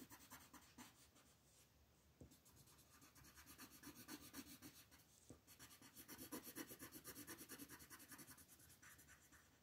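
An orange wooden colored pencil scratches and rubs over a thin printed paper coloring book page on a wooden table while coloring flower petals, as a long-nailed hand steadies the page. The quiet, bright, scratchy strokes come in a loose back-and-forth rhythm of about two per second, with a soft papery hiss underneath.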